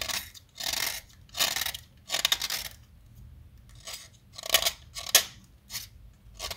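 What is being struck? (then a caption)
Chalk stick cut with a metal blade. A small, solid yellow chalk stick held in the fingers is carved with a metal utility knife blade, shedding yellow crumbs. A series of short, bright, gritty scraping and cutting strokes comes in separate bursts with quiet gaps between. Each stroke has a dry, crisp edge that stops almost at once.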